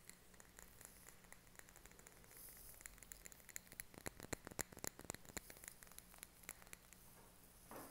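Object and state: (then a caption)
Glass candle jar. A small glass candle jar filled with solid green wax is held in both hands and tapped and scratched around its glass wall with fingernails. Quiet, dense clicking taps with bright, brief ticks and soft scratching run through the clip, growing louder and busier in the middle before easing off, over a steady low hum.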